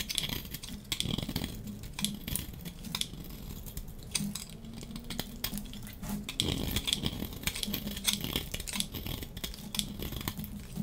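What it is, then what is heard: Dry soap bar shaved with a blade. A hand-sized, solid, yellow-striped dry soap bar is held in the hand and shaved with a metal utility-knife blade, curling off flakes. The sound is a steady run of crisp, dry scraping and shaving strokes, full of quick, sharp ticks with bright, high edges over a soft low undertone.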